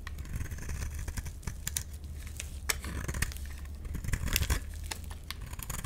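A utility knife scrapes a solid, light-green rectangular bar of soap, peeling strips of soap off it. Quick, dry, crinkly scraping strokes with bright, crisp edges come in uneven bursts over a steady low hum.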